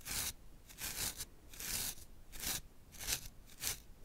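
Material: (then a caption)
Hair. A wide-toothed plastic afro comb, held in the hand, is drawn through a full, thick facial beard on the chin and jaw. It makes a series of bright, dry scratching and combing strokes with soft rustling between them.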